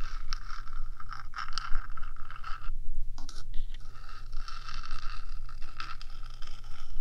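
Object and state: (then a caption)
Metal microphone housing scratched with nails. Long acrylic nails on one hand scratch along the top of the hollow, rectangular metal housing of a 3Dio binaural microphone, about 15 cm long. Dense, bright scraping with a steady tone near 1.3 kHz continues, broken by a brief pause near the middle, over a low hum.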